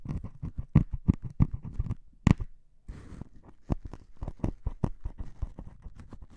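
A needle taps and scratches into the surface of a solid melamine foam sponge with a grey top, held in one hand. Soft, dull, low-heavy taps come in a quick irregular patter, and a brief hissy scratch sounds around the midpoint. Each tap dies away almost instantly.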